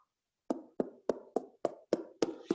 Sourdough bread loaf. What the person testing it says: É um som oco, é um som de uma madeira oca